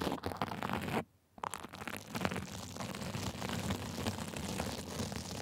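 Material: Sequins.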